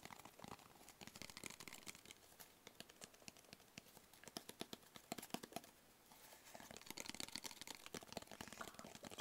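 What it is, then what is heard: Cardboard box tapped and scratched. Fingertips and nails tap and scratch a hollow, black rigid cardboard box with a textured paper surface. The result is a quiet run of short, dry, bright clicks mixed with crinkly scratching that briefly falls silent near the six-second mark. Denser scratching then resumes to the end.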